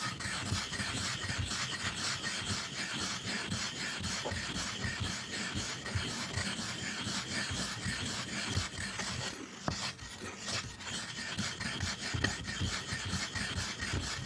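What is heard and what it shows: A hand-held black ink stick is rubbed in strokes across a dark rectangular stone inkstone whose flat surface is covered with water and ink, grinding ink. The result is a steady, continuous gritty rasping with bright hiss and a soft low rumble, pulsing loosely at about two strokes per second.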